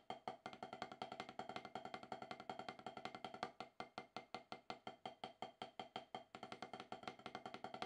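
Two wooden drumsticks tap quickly on a solid, octagonal HQ snare practice pad with a dark rubber surface. The strokes come in a fast, roughly steady rhythm of short, dry, woody clicks, centred around 750 Hz with bright overtones. Each stroke dies away almost instantly.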